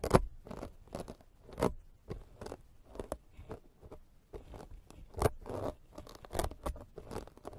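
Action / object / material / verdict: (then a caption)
scrape / foam microphone windscreen scraped with a serrated metal blade / foam / none. A hand-held green plastic peeler drags its serrated metal blade across a soft, porous black foam microphone windscreen in repeated scraping strokes. Each stroke is a short, dry, crunchy scratch with a low-heavy body and a faint bright edge, separated by brief pauses and varying in strength.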